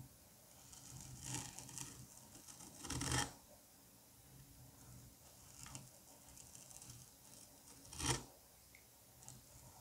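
A curette tip scrapes across a solid dome of green kinetic sand, tearing crumbly strips off its surface. Soft, gritty scratching and crackling run throughout, with a few louder, bright tearing bursts standing out against a low, quiet background.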